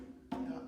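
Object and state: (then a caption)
Resonant drum, not dead. A single tap on an accompaniment drum with a skin head gives a pitched tone near 262 Hz. The tone rings and sustains for about a third of a second. It is a resonant drum, not a dead-sounding one.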